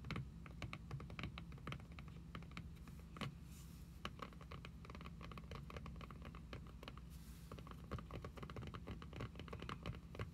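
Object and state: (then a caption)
Cloth-bound hardcover book. The tips of long acrylic nails tap fast on a solid red cloth-bound hardcover book lying flat on a table. The taps are quick, dry, and clicky, coming in a dense, quiet patter with no ring. A steady low hum sits underneath throughout.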